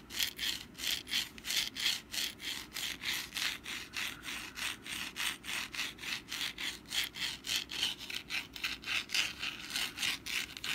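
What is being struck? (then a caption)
Papier-mache pumpkin decoration. Long black nails scratch back and forth across the textured surface of a hand-sized, rust-brown papier-mâché pumpkin decoration held in the hand. About 36 quick, dry, bright scraping strokes follow one another at a fairly steady pace of roughly three to four per second, with a hissy, papery rasp that has almost no low end.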